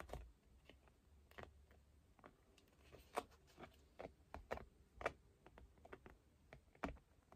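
Long fingernails tap and scratch a small, flat, rectangular painted canvas board held in both hands. The result is a quiet, irregular series of crisp, short clicks that sound like typing on a keyboard.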